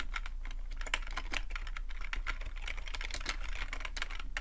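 Fingertips type steadily on a full-size black plastic computer keyboard with a hollow plastic body, heard up close. A continuous stream of quick, bright clicky taps runs over a steady low hum underneath.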